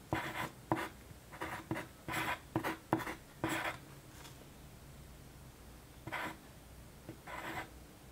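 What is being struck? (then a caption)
Wooden graphite pencil on a paper sheet. A hand with long painted nails writes on a single flat white paper sheet lying on a desk, using a yellow wooden graphite pencil. Short, dry, scratchy pencil strokes come in a quick cluster over the first few seconds. After a quiet pause, a few more strokes follow near the end.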